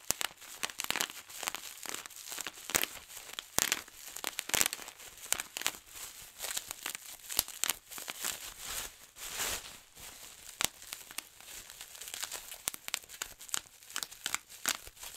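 Fingertips pinch a large, clear plastic sheet of air-filled bubble wrap, popping bubble after bubble in sharp, bright snaps over a steady crinkling of the plastic. The pops come in quick, irregular bursts with almost no low end and no ring after each one.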